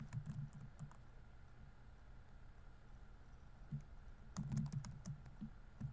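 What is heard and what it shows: Fingertips type on the plastic keys of a laptop keyboard, producing soft, muted clicks with a dull low thump and a little bright tick. A short flurry of keystrokes gives way to a near-silent pause of about three seconds, then a second, slightly louder burst of typing carries on to the end.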